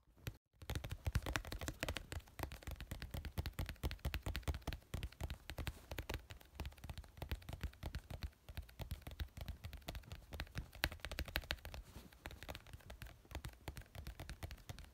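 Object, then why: Small plastic glue tube. A small white plastic glue tube with a teal label, lying on yellow fabric, is tapped rapidly with fingernails. It gives a dense, continuous stream of short, dull clicks with a soft, low thump under them, lasting the whole clip after a brief silence at the start.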